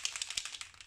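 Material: Plastic.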